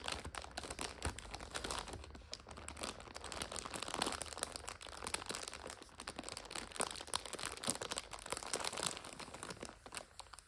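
Long nails tap and scratch across the top of a full five-pack of instant noodles in a clear plastic overwrap. The result is a dense, continuous run of bright plastic crinkles and quick clicking taps over a faint, steady low hum.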